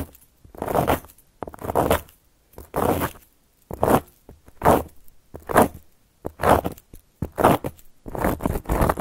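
Long gold metal claw nail caps slowly scratch and trace across a solid, round, flat cork board. Each stroke makes a dry, rasping scrape, strongest in the low-mid range with a brighter hiss, separated by short silences in an uneven, steady rhythm.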